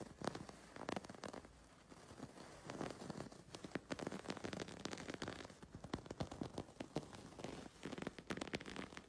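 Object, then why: Chain-stitch embroidered wool fabric. A fingertip and short fingernail scratch and rub across the raised wool or yarn chain stitching of densely embroidered fabric, possibly a cushion or bag, with heart and leaf motifs on its flat, soft surface. Quiet, dry crackling scratches and quick clicking ticks come in a steady, uneven stream, each very short with no ring.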